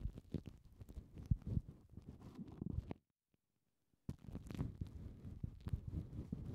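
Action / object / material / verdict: scrape / plastic cling film wrapped over foam mic windshields / plastic film / none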